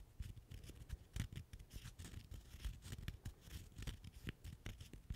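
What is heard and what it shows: A single small, solid natural cork wine stopper is held in the fingers and scratched with the fingernails. The result is a steady run of quick, dry scratching strokes, each a short rough burst over a soft, low rumble, with no ringing after each stroke.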